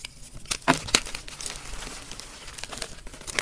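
Bare fingertips with short nails crush and crumble soft, crumbly, solid blocks of blue-dyed, turquoise gym chalk between both hands, rubbing the chunks and powder into powder. The result is dry, bright crunching and crinkling with a few sharper snaps early on, over a steady gritty rustle.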